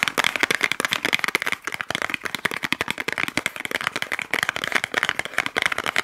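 A small white cardboard box held in both hands is tapped and scratched with fingernails. Quick, dry clicks and scratches run in a dense, uneven stream with a bright, papery tone and almost no low end. Each hit dies away instantly.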